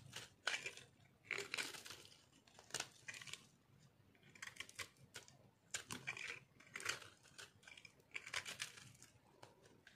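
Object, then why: Soap bar carved with a metal knife. A metal knife carves and shaves crunchy pieces off a solid white, palm-sized dry soap ball with orange speckles held in the hand. Quiet, bright, dry crunching and scraping bursts come in a steady series of short strokes, with little low end and almost no ring between cuts.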